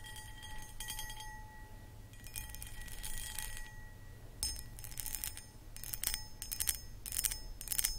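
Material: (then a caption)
Glass. Long acrylic nails scratch and tap across a medium-sized, empty, hollow clear cut glass pedestal bowl with a foot. Bursts of bright, gritty scraping and quick clicks come in several clusters, with faint thin ringing tones held underneath. A low steady rumble runs throughout the quiet clip.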